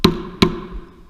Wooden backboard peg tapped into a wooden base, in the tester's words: the sound goes from a hollow sound to a much more solid thud